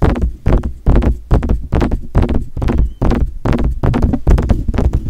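Fingertips tap on the metal body and grille of a silver metal USB desktop condenser microphone. The taps come in quick, uneven bursts of dull, bassy thumps that die away fast, with almost no high-end sparkle.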